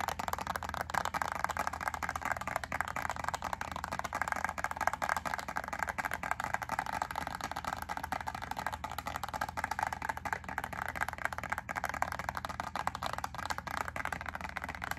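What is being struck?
Thin plastic clamshell pack of wax cubes.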